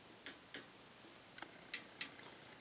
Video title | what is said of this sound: Tube Lab #51 Biasing the Willsenton R8 or any Push Pull Class AB amp | it's got a little bit of a ring